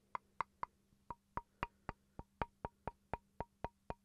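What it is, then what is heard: Wooden chopping board. A small solid wooden chopping board is held up near the microphone and tapped with fingertips and then with a wooden pencil. It gives about fifteen short, dry, hollow knocks with a woody tone near 1 kHz, evenly spaced and dying away almost instantly. A faint low hum sits underneath.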